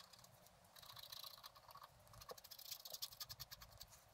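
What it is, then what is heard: Scratch art card being scratched. A wooden stylus scratches the black wax coating off a flat scratch-art card (black wax-coated paper) lying on a table, in quick strokes. The result is a rapid series of short, dry, bright scratching rasps with almost no low end, growing slightly louder and more clipped toward the end.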